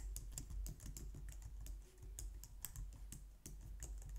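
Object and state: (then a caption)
Plastic computer keyboard being typed on. Long nails and fingertips type quickly on a compact, low-profile white plastic computer keyboard. The result is a steady stream of short, bright clicks and clacks over a constant low hum.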